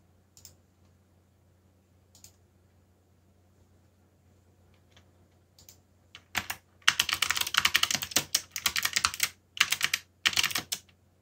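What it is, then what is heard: Plastic mechanical keyboard. Fingers of both hands type on a backlit mechanical keyboard with black plastic keycaps, starting with a few isolated key clicks over a low steady hum. After about six seconds the typing becomes rapid, bright, clattering bursts separated by short pauses.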